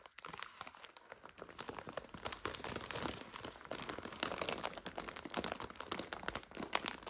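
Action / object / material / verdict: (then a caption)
shake / plastic bag of dry egg noodles / plastic / none. Two hands squeeze and crinkle a full, clear plastic bag of dry egg noodles, its top folded over and its back label showing. A dense run of bright, crackling crinkles continues without a break for about seven seconds, swelling slightly louder toward the end.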